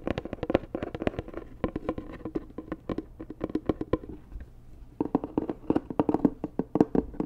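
Long nails tap rapidly on a hollow, white, rigid cardboard Dior gift box, producing short, dry, hollow knocks with a resonance around 300 Hz and a brief clicky top. The tapping runs in quick, uneven bursts, eases into quieter, sparser taps around the middle, then picks back up to a busier, louder patter.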